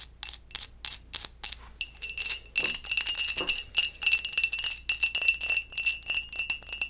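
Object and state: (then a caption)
Textured glass mug. A textured glass mug is tapped and scratched, first with a few separate, bright clicks, then a quicker run of tapping and scratching. The glass gives a high, chime-like tinkle with a thin ringing tone over the taps.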